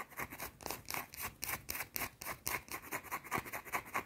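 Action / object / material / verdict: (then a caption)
scrape / bar of soap scratched by fingernails / soap / none. A small, round, solid white soap bar held in the fingers is scratched and tapped with long teal painted nails. The result is a fast, uneven run of short, bright, scratchy strokes and taps with little low end, each dying away almost at once.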